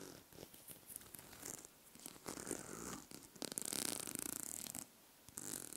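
Long manicured nails run and scratch across the teeth of a small, light, solid wooden comb held close to the mic. The result is a dry, zipper-like rasp of quick ticking strokes, building to a denser, brighter burst of rapid scratching before a brief pause and a final few scrapes.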